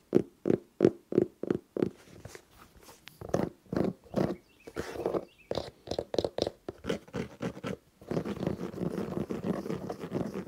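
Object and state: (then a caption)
Synthetic sneaker. Fingernails scratch the synthetic mesh upper and foam/rubber sole of a colorful, hollow sneaker held in both hands. It opens with six quick, evenly spaced scrapes, then moves into irregular scratching strokes of varying loudness. The last few seconds become a denser, continuous rasp with a dull, low-mid tone and little brightness.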